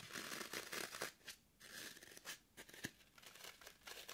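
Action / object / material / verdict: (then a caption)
scrape / floral foam block / floral foam / none. Long nails scratch and dig into the surface of a solid, porous green floral foam brick held in the hand. The result is quiet, dry crunching and crumbly tearing scrapes in quick, uneven bursts. The sound is bright and hissy, with almost no low end and only brief sharp clicks.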